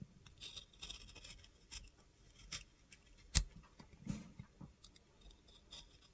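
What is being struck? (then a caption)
Bar of soap. A box cutter blade scrapes and carves an oval, translucent blue bar of soap with a glitter coating, held in the hand. Quiet, gritty, crunchy scrapes come in short bursts with bright hiss, broken once by a sharper click near the middle.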